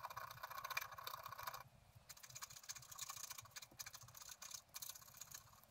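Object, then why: Wax-coated scratch art paper card scratched with a wooden stylus. A wooden stylus scratches the flower details on a flat, black-coated scratch art card resting on a table. Dense, bright, dry scraping fills the first second and a half, then continues as quieter, quick scratching strokes in short bursts.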